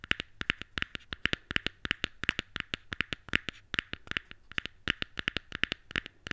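A small, white, hollow cardboard box from Apple earphones is held open and tapped and scratched with long nails and fingertips. It produces a rapid, uneven run of sharp, dry, clicky taps, bright around 2 kHz with almost no ring, and faint scratchy rustling between them.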